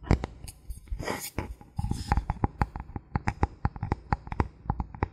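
A thin, flat, solid bamboo board is held in both hands over the recorder while fingertips and nails tap and scratch its surface. A quick series of short, dry taps with a low, hollow thump and brief bright clicks, broken by a soft scratchy rustle of nails dragging across the wood. Each tap dies away almost instantly.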